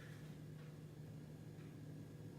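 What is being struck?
Nothing is struck.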